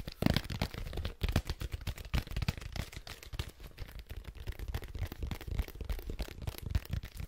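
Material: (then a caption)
Plastic. A medium cylindrical plastic Clorox disinfecting-wipes canister with a white lid, hollow and likely partly full, is held in both hands and tapped quickly with fingertips and nails on the lid and sides. The result is a fast, continuous run of short, dull, hollow taps, heavy in the low end with only a little bright click, and each tap stops dead with no ring.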